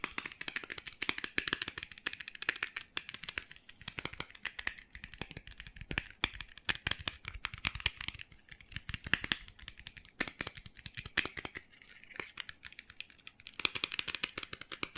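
A small Jim Beam miniature bourbon bottle, glass and hollow with its white screw cap on, is held upside down in both hands and tapped and scratched rapidly with fingertips and nails. The result is a dense, continuous stream of sharp, bright clicking taps with dry scratching between them, each tap dying out instantly with no ring.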